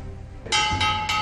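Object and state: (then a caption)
Well-fired porcelain piece. A freshly fired porcelain micro-writing piece is struck three times after an 800-degree firing, giving bright, bell-like rings at about 850 Hz that sustain between strikes. The crisp, chime-like tone shows the piece was fired successfully and came out translucent and bright.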